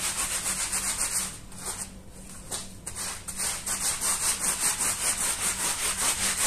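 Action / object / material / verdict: scrape / wet woven wool rug scrubbed with a brush / wool / none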